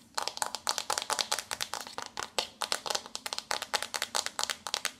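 Long nails scratch and tap the embossed front cover of a flat, glossy pink paperboard eyeshadow palette, hand-sized and held up in both hands. About thirty quick, dry, bright clicks and scratchy bursts follow one another with almost no ring, and there is hardly any low end.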